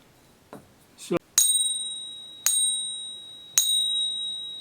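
A genuine 1 oz American Silver Eagle bullion coin, whose diameter and weight match spec, is struck three times with the stick of a coin pinger while a phone app listens. After a couple of soft handling knocks, each strike gives a bright, sustained ring near 3.8 kHz with a higher overtone that slowly fades. The app scores the coin three out of three, confirming it as real silver.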